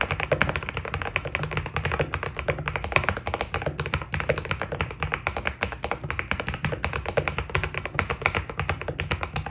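Fingertips type steadily on a white Keydous NJ80 mechanical keyboard with PBT plastic keycaps. The result is a fast, continuous stream of short, crisp key taps with a low, rounded body and a bright clatter on top.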